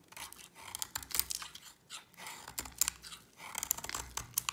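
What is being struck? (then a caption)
Bar of soap scraped with a blade. A utility knife blade scrapes a solid white bar of dry soap with a yellow coating, sending flakes falling. The sound is a run of crisp, dry, bright scraping bursts with sharp crackling ticks and almost no low end.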